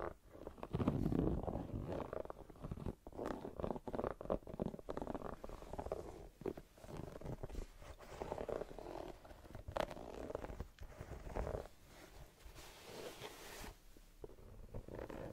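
Long nails scratch and tap the brown textured rubber sole of a white canvas sneaker held up in the air. The result is a close, soft, continuous run of scratchy rubbing and quick muted taps with a low, rumbling body and little brightness.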